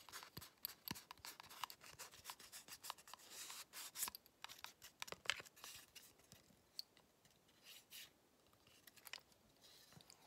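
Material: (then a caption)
Wood. A long, flat, solid wooden ruler partly wrapped in blue painter's tape is held in both hands while fingertips and nails scratch and rub along its face and edge. The result is quiet, bright, dry scratching and rubbing strokes with almost no low end, dense and rapid in the first half and sparser toward the end.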